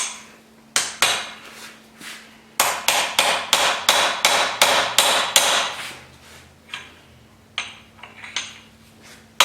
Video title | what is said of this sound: 6 0li LS1 Step by Step Engine Build - Smokey & the Bandit LS Swap Pt4 | Hear that dink dink? That's how you know she's home.